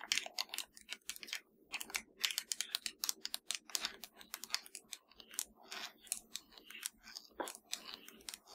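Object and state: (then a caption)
Plastic game controller, hollow. Long nails tap and scratch the hollow top edge of a black plastic PS4 controller, making a dense run of quick, bright clicks and scrapes. The sound is crisp and dry and dies away almost instantly, with scratchy rasps mixed among the taps.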